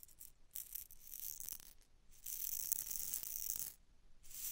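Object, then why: Glass test tube with small beads. A long, narrow glass test tube with a cork stopper, partly filled with small pink beads or rhinestones, is held in one hand with long dark nails and tilted back and forth over the microphone. The beads slide and rattle inside, giving soft, bright, hissy swells that rise and fall in uneven waves with brief quiet gaps between tilts.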